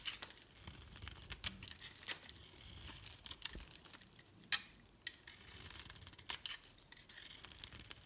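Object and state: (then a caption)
Bar soap being shaved. A metal blade shaves layered flakes from the top of a solid pink-rimmed green bar of soap held in the palm, then scrapes them away. The sound is a quiet, bright, crisp scraping and crackling, made of many short sharp ticks and brief rasping strokes with almost no low end.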